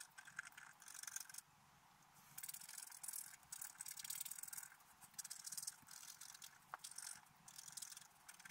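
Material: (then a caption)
Coated paper. A flat black-coated scratch art paper card is held down with the left hand while the right hand scratches lines into it with a wooden stylus, an unused brush lying beside it. Bursts of bright, dry, rasping scratches come in quick strokes, with a quieter hushed pause in the middle.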